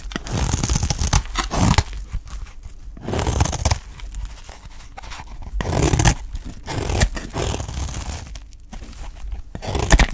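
A utility knife blade shaves thin slices off the edge of a solid, dry green olive oil soap bar held in the hand, so the bar gets visibly smaller. The strokes come in bursts of dry, crunchy scraping with a heavy low-end rustle and brief quieter pauses between passes.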